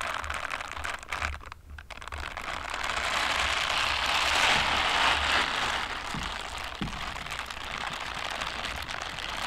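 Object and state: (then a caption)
Silicone scrubber gloves rubbed together. White silicone dishwashing gloves with bristle scrubber pads, worn on both hands, are rubbed and patted against each other. A dense, bright, crackling rustle fills the clip, dipping briefly near the start and swelling louder in the middle, with a few soft low thumps from the pats over a faint steady low hum.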